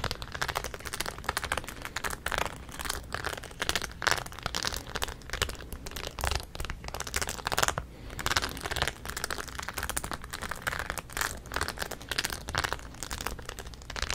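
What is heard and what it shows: Long nails scratch and rub over the rows of studs on the crown of a rhinestone-studded denim cap held close to the mic. The result is a dense, continuous stream of quick, dry crinkling clicks and scrapes with bright, crackly detail and a faint low rumble underneath.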